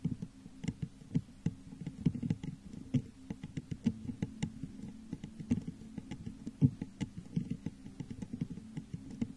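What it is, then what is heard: Textured glass vase tapped with fingernails. Long nails tap the sides of a hollow, textured clear glass vase turned upside down over a microphone. A quick, uneven run of soft, dry taps gives a low, hollow tone around 240 Hz with faint bright clicks on top. Each tap dies away almost at once.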